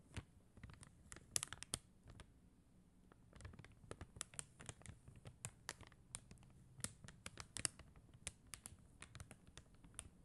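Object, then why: Acrylic rhinestone stickers on paper backing. Long teal acrylic nails tap and scratch across a flat sheet of clear and blue faceted acrylic rhinestone stickers on white paper backing, lying on a glitter surface. The result is a quiet, steady run of sharp, dry clicks and bright ticks with no ring, broken by short scratchy scrapes over a soft low rumble.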